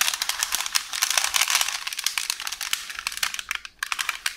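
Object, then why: Parchment baking paper roll. One hand with long orange nails scratches and squeezes a hollow roll of beige parchment baking paper, producing dense, bright crinkling and rustling with many quick, sharp crackles. The sound stays high and papery with almost no low end, briefly dropping nearly silent before the crinkles resume.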